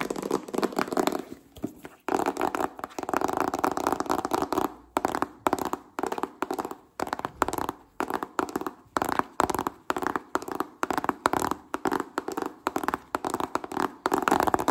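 A small, hollow white cardboard smartphone retail box is held in the hands and rapidly tapped and scratched with fingertips and nails. The sound is a dry, papery midrange clatter with almost no low end, arriving in dense flurries broken by brief pauses. It settles into a steady run of short rhythmic bursts before a final dense flurry.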